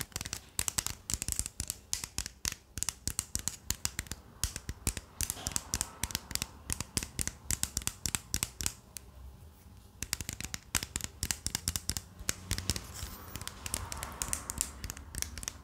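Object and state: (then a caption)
Plastic puzzle cube being turned. Fingertips of both hands quickly turn the layers of a small 3x3 plastic speed cube with a black carbon-fibre body and colored stickers as it moves from left to right. Dense runs of sharp, bright plastic clicks and scrapes come with a brief quieter lull near the middle, and each click dies away almost instantly.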